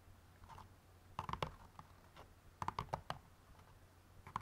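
Fingernails tap on the outer cardboard side walls of an open white cardboard jigsaw puzzle box bottom holding a bagged puzzle. Quick, dry clicking taps come in clusters around 1.2 s, 2.6 s and 4.3 s, with a hollow midrange body near 1 kHz and a low thump. Faint scattered taps fill the gaps over a steady low hum.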